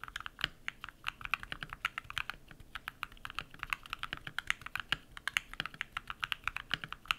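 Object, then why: Mechanical keyboard with plastic keycaps. Bare fingertips type rapid key presses on a compact modded mechanical keyboard with lubed switches and white PBT plastic keycaps. The result is a steady, fast stream of short, dry clacks that are bright, centered around 2.2 kHz, with almost no low end and no ring after each keystroke.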